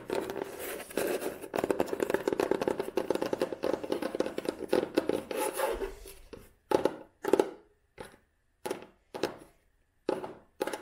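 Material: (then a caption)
Cloth, board. Long manicured nails tap and scratch the tan cloth cover of an old, solid hardcover book with a red spine. For about six seconds there is a dense, fast patter of dry, muted clicks and scratches with a midrange body, followed by seven separate, spaced taps with silence between them. Each tap is short and dead, with almost no ring.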